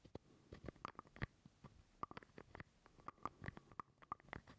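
Fingernails scratch and tap a small, hollow purple plastic jar lid held close to the microphone. A rapid, uneven series of quiet, sharp clicks is heard, several with a brief hollow ring near 1.2 kHz, over soft scratchy rustling. Each tap dies away almost instantly.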